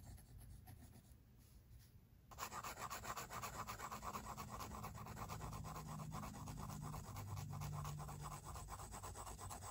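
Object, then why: Pencil drawing on a paper sketchbook page. A pink mechanical pencil rubs and scratches long and short strokes across the white paper of a spiral-bound sketchbook resting on a table. Soft, faint strokes give way after about two seconds to steadier, louder, closely spaced scratching with a dry papery rasp and a low underlying rumble.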